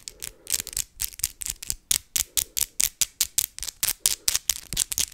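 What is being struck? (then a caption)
Acrylic fake nails. Long acrylic fake Christmas nails are tapped tip against tip in rapid succession close to a microphone. They make a quick, steady run of about two dozen sharp, bright clicks with almost no ring and very little low end.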